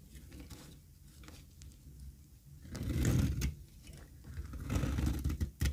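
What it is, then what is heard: Dry soap bar being shaved. A flat, solid, pale beige bar of dry soap, held in one hand over a pile of soap shavings, is shaved and scraped with a small metal utility blade in rapid repeated strokes, curling off thin flakes. The strokes make a dull, low, crumbly scraping that swells into louder, rougher bursts partway through and again near the end, with brief bright crackles.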